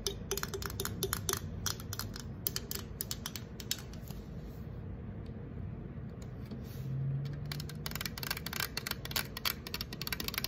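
Long acrylic nails tap rapidly on the lid and side of an unopened, apparently full 355 mL green Sprite aluminum can. Sharp, bright metallic clicks come in quick irregular bursts, each dying away almost instantly over a steady low background rumble. The tapping thins out briefly near the middle before picking back up.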